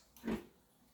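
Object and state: Coconut with water inside.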